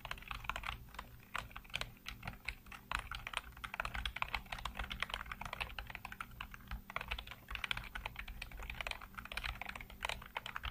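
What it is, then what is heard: Plastic computer keyboard. Fingertips type rapidly across a full-size black plastic computer keyboard with hollow keycaps, making a dense stream of short, bright clicks and taps. Each keystroke dies away almost at once, over a steady low hum.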